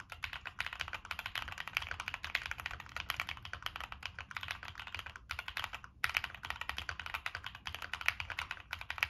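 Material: Plastic.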